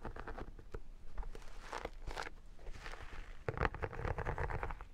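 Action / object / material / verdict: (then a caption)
scrape / vinyl photo album cover / vinyl / none. An iridescent textured vinyl photo album is held upright while long nails and fingertips scratch and tap its textured vinyl surface. The result is a quiet, steady run of dry, crackly scratching mixed with short, soft taps, mostly low in tone with brief brighter bursts.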